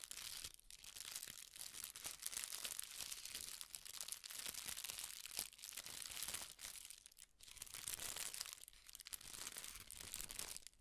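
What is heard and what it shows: A folded sheet of thin red tissue (silk) paper, held in both hands, is crinkled and rubbed between the fingertips. The result is a quiet, steady, bright crinkling and rustling with tiny crackles, briefly easing off a few times before resuming.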